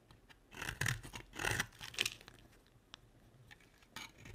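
A utility knife blade carves a dry pink solid bar of soap in scraping strokes. Several bright, gritty scrapes rise and fall over the first two seconds, followed by quieter, sparser clicks and short scratches.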